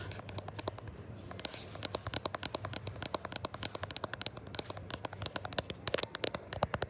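Fingertips and short nails tap and scratch quickly on the matte glass back and raised camera bump of a gold iPhone 11 Pro, which is also doing the recording. Dense, sharp, dry clicks and scrapes come close and crisp, each dying almost instantly over a faint low hum.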